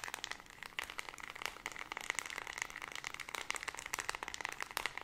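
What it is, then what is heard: Plastic remote control. Long red nails rapidly tap and click the colored rubber buttons of a small white plastic LED remote control and scratch its plastic body. A quick, dense stream of sharp, bright clicks and dry scratching, centered around 2 kHz, with almost no low end and no ring after each tap.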